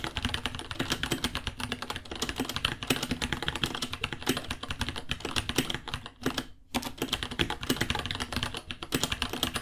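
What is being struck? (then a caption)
Plastic mechanical keyboard. Fingertips type fast on a white 66-key mechanical keyboard, about 30 cm long, with plastic keycaps, Gateron Brown switches and a hollow case. A dense stream of bright, sharp clacks with a hollow low thump runs steadily throughout, broken by one brief pause at about 6.5 seconds before the fast typing resumes.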